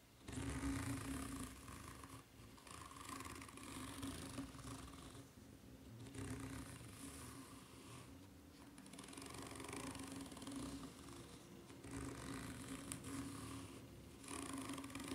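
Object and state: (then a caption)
Rubber flip-flop sole. Long red nails scratch the serrated underside of a white ridged rubber flip-flop sole. The result is a steady, raspy scratching in several sustained passes, broken by brief pauses, over a faint low tone near 270 Hz, with a bright, airy texture on top.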